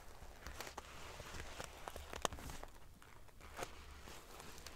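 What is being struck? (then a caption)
Fabric pillow covered in small metal sequins. Long painted fingernails scratch and ruffle the rows of small silver metal sequins sewn onto the fabric of a large decorative pillow. The result is a dense run of prickly, bright clicks and crackles with short metallic ticks, over a soft low rumble.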